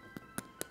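Three short, crisp taps on the skin of slow-roasted pork belly resting on a wire rack, each a brief dry click over quiet background music. The crackling is very crispy, so crispy that the meat side will be cut first.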